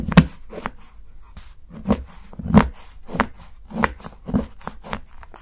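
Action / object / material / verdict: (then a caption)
strike / dark chocolate bar cut with a kitchen knife / chocolate / none. A steel kitchen knife repeatedly chops thin slivers from the edge of a solid dark chocolate bar held by fingertips. About nine dull, short, low-pitched cuts land at an uneven pace, each a muted thud with a brief crisp edge and almost no ring.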